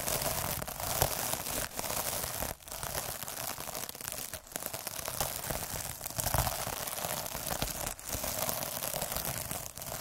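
A needle derma roller is pressed and rolled by hand across the surface of a soft, iridescent plastic mesh scrub pad, making a dense, steady crinkling and scratching texture with a bright, hissy top. The rustle runs almost continuously, broken by a few brief dips where the roller pauses or changes direction.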